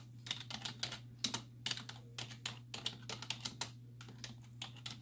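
Long nails and fingertips tap rapidly on the hollow keys of a black plastic computer keyboard resting on a wooden desk. About two dozen short, bright clicks come in quick uneven bursts, each dying away almost at once over a steady low hum.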